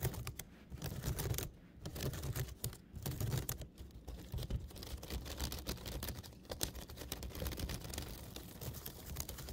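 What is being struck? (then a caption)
Woven wicker basket. A woven basket is tapped and scratched close to the microphone. It gives a steady run of quick, dry clicks and scratchy rustling with a heavy low-frequency thump beneath and very little ring after each tap.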